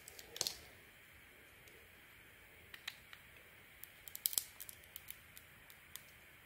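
A handheld solid soap bar with an orange spotted outer layer and a cream interior is carved and shaved with a utility knife blade. About fifteen short, crisp, high-pitched scrapes and ticks sound over a faint hiss, with a louder burst near the start and a tight cluster toward the end. Each cut stops almost instantly, with no ring.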